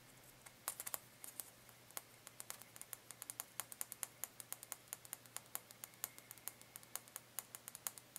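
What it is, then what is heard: Cardboard carrot decoration. Fingertips and nails rapidly tap and scratch the surface of a small orange carrot-shaped cardboard Easter decoration held up in the hands above a hay-filled tray, not touching it. About fifty short, dry, bright clicks and scratchy taps come in quick, uneven succession, each dying away almost instantly. They sit over a quiet background with a faint steady low hum.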